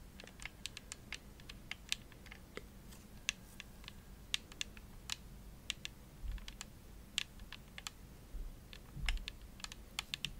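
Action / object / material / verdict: tap / plastic game controller shell / plastic / none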